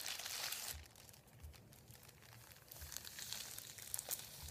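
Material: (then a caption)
Paper. Fingertips rub and crinkle a thin, folded sheet of white printed paper lying on a wooden table. A bright, hissy crinkling starts loud, drops to a softer rustle, then builds again with sharper crackles near the end.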